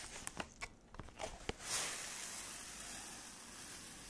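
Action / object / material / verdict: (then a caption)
tap / thin clear plastic clamshell food box / plastic / none. A small clear plastic clamshell box holding dark stacked cookies is held in the hand and tapped with long red acrylic nails, giving about six sharp, bright plastic clicks. From about 1.7 seconds, the nails scratch across the plastic in a steady, hissy, high scraping that slowly fades toward the end.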